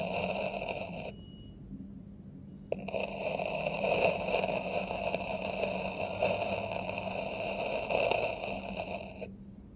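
The tip of a dark metal knife blade is drawn through packed red kinetic sand in a small square yellow-green plastic tray, scratching parallel grooves into the surface. A dense, crunchy, bright scraping hiss plays for about a second, pauses with only a faint steady tone, then resumes with a sharp onset. It continues grainy and uneven until it stops just before the end.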